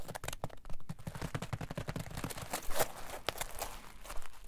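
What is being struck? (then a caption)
Polyethylene foam block. A solid green polyethylene foam block is pressed and folded with fingers on a table, then squeezed in the hand, while a metal ruler lies unused nearby. It gives a dense run of short, dry crunching and creaking crackles, weighted toward the low end with brief squeaky bursts. Each one dies away quickly.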